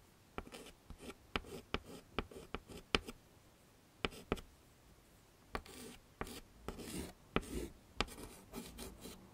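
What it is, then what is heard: Chalk scraping on a chalkboard. A stick of yellow chalk is scraped across a small flat black chalkboard in a wooden frame to draw flower centres and stems. About sixteen sharp, bright taps punctuate short, gritty, scratchy strokes, with quiet pauses between bursts.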